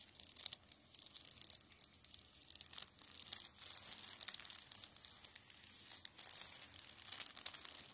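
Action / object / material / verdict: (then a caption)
scrape / paperback books in plastic shrink-wrap / plastic film / none. Fingers rub and scratch the crinkly plastic shrink-wrap film over the spines of a row of paperback manga lying on a table. The result is a quiet, continuous, bright crinkling and scratching texture with many rapid, tiny crackles and small swells in loudness.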